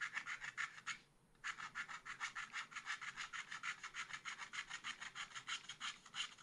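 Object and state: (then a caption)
Scratch art paper being scratched. A wooden stylus scrapes short strokes across a black coated scratch art paper page in a small spiral pad, making a quick rhythm of dry, bright rasping scratches at about three per second. The scratching pauses briefly near the one-second mark, then continues steadily to the end.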